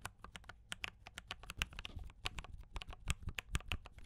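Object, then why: Mechanical keyboard with plastic keycaps. A one-handed typist's fingertips tap a D84 compact mechanical keyboard with brown switches and cream and red plastic keycaps. About twenty-two quick, dry keystrokes pair a low thock with a bright clack, each stopping almost at once at an uneven typing pace.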